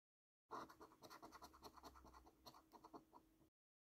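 A coin scrapes the scratch-off coating from a thin, flat paper £15 National Lottery "Luxury Lines" scratch card held down by hand. It makes a rapid series of short, dry, raspy scraping strokes with a midrange bite and bright edges over about three seconds. The coating is scratched away.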